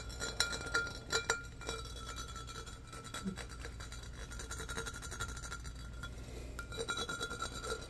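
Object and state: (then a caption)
Glass pitcher. Fingernails scratch and tap the patterned body and rim of a medium-sized, empty, hollow embossed glass pitcher. The result is quick, bright clinks and raspy scratching over a steady low hum, with a faint ringing tone in the glass.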